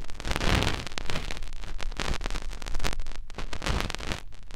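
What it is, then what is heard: Silicone ear of a binaural microphone, rubbed. A fingertip rubs and presses inside the ear canal of a white silicone ear on a binaural microphone. The result is a steady run of close, muffled rustling and thumping, with most of the energy deep and low and only a little brightness on top.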